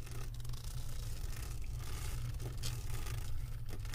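Long acrylic nails scratch across the resin drills of a flat diamond painting on a canvas board. It makes a steady, continuous scratching over a low rumble, with a few brief brighter scrapes standing out.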